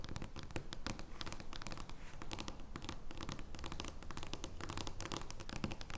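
An oversized joker playing card made of thin card stock lies flat on a wooden table and is scratched and tapped with long nails. The result is a dense, uneven stream of dry scratching and crisp, bright clicks with a soft low body underneath.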